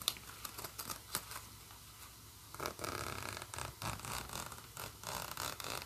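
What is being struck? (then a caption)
Nylon bag with plastic coil zipper. Fingers zip a green nylon bag's black plastic coil zipper with a metal slider open and closed, and nails rub the nylon fabric. Quick, irregular bursts of bright, raspy zipping and scratchy rubbing follow one another, with quieter fabric scratching between them.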